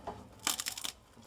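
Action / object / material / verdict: scrape / bread crust / bread / crisp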